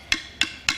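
Three sharp taps on a termite-hollowed tree branch of the kind used to make a didgeridoo, tested for whether it sounds hollow before being cut to length. Each tap is a bright, hollow, woody knock centred high around 2.6 kHz with a very short ring. The wood sounds hollow.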